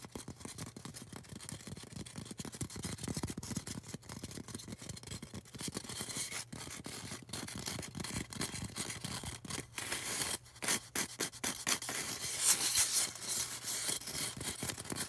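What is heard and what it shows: Long orange nails scratch and rub a solid white polystyrene foam cone. The result is a dense, bright, rapid rasping with a faint steady low hum underneath, and it grows louder and harsher toward the end.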